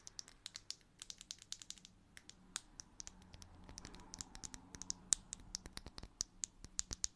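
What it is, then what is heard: Plastic bottle cap. A small, hollow blue plastic bottle cap with a ridged edge is held close and tapped and scratched with long nails. A rapid series of sharp, bright clicks and crisp scratches sounds over a quiet background, with almost no low end and each tick dying away instantly.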